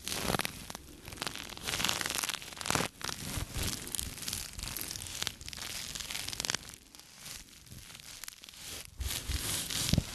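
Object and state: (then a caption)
Microfiber cloth. A small light-blue microfiber cleaning cloth is held in both hands while the fingers rub, stretch and crumple the fabric. The result is close, continuous rustling and scratchy, tearing-like friction noise, bright and broadband, with uneven louder bursts throughout.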